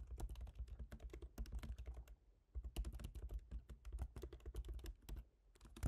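Both hands type rapid fingertip taps on a MacBook Pro keyboard, its black plastic keycaps set in a silver aluminum body. A dense run of short, soft, thumpy key clicks pauses briefly just after two seconds, then resumes in quick bursts through the end.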